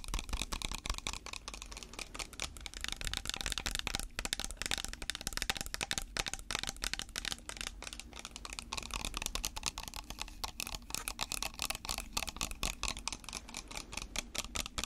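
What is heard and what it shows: Natural fingernails tap and scratch a clear plastic spray bottle of water held in bare hands. The result is a steady, dense stream of quick, bright plastic clicks and scrapes with almost no ring, over a faint low hum.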